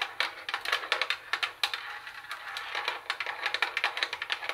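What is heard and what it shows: Rapid tapping with long acrylic nails on the flat plastic CD lid of a hollow Sony CFD-101 CD cassette boombox. The sound is a quick run of sharp, bright clicks with almost no low end, each dying away almost instantly, with a brief quieter stretch in the middle.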